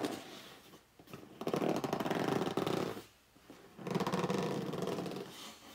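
Fingertips and short nails grip, rub and scratch the top and front face of a hollow, medium red corrugated cardboard shipping box lying flat on a wooden table. Two long, dense bursts of raspy, squeaky friction with a hollow midrange tone are heard, separated by brief near-silent pauses, after a softer opening stretch.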